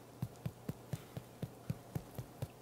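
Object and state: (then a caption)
Baked-through bread loaf, hollow sound. The bottom of a warm, freshly baked whole wheat soaked-flour bread loaf is tapped 11 times at an even, steady pace. Each tap is a short, dull, low thump with almost no ring, giving a hollow, drum-like sound. That hollow sound shows the loaf is baked through inside.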